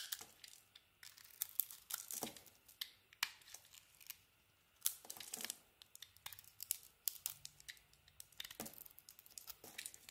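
A solid soap bar with a red and pink striped coating and a white core is held in the hand and shaved with a metal box-cutter blade. Quiet, bright, crisp scraping and crackling comes in irregular short bursts, with brief near-silent gaps. There is almost no low end.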